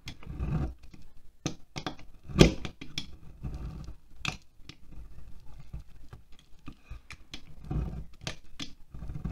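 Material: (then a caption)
Wax. A utility knife scrapes shavings off the side of a solid green wax pillar candle resting on a glass plate. The clip is a quiet series of short, dry scraping strokes with brief crisp ticks, mostly low and muffled. One louder scrape comes early on.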